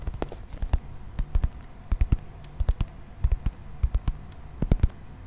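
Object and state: Plastic toy figurine.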